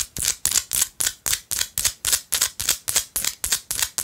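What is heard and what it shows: Long light-blue acrylic nails scratch and tap a small, solid pinkish-orange Himalayan salt rock chunk held in one hand. About seventeen quick, evenly paced bright scraping strokes, each a short crisp burst that cuts off with almost no ring, heavy in the high end with hardly any low rumble.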